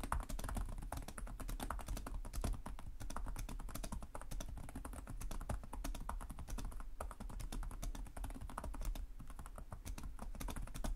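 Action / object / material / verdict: tap / plastic laptop keyboard / plastic / none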